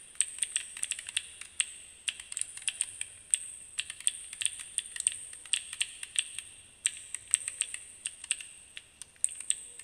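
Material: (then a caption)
Plastic. Fingertips repeatedly press and click the colored plastic keyboard-style keycaps on a small, solid handheld fidget cube held in both hands. The result is a quick, irregular stream of dozens of crisp, bright clicks that sound like fast keyboard typing, each snapping off almost instantly with a high, tinny edge and no low-end body.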